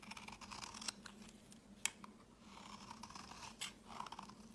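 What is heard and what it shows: A utility blade scrapes fine shavings from a solid, pale green rectangular bar of soap held in the hand. The sound is a quiet, bright, papery scratching that swells and fades in strokes, with a few sharp clicks standing out. A faint steady low hum sits underneath.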